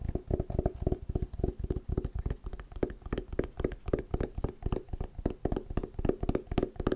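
Fingernails and fingertips tap quickly on a hollow, oval hard sunglasses case covered in patterned woven fabric. The taps are short, dull and mostly low, with a faint hollow tone around 375 Hz, and they fall in a fast, uneven rhythm throughout.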